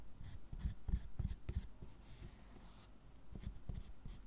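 A gloved hand scrapes and carves lines into the squares of a solid milk chocolate tablet on a wooden board with a small metal spoon-tip carving tool, raising shavings. Quiet, dry, irregular scraping strokes are heard, low and muffled with very little ring, fading into softer rubbing before a few more strokes at the end.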